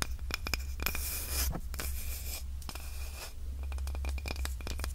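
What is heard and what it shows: A small, light, solid wooden cutting board with a handle is scratched and tapped with long nails. Dry, bright scraping sweeps alternate with rapid clusters of short, sharp clicks over a steady low hum.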